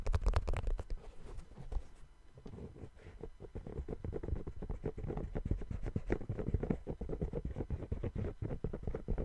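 Fingertips tap and scratch the patterned rubber outsole of a brown sneaker turned upside down. The result is a dense run of quick, soft, muffled thuds with a deep low-heavy tone and almost no brightness, easing briefly around the two-second mark before picking back up.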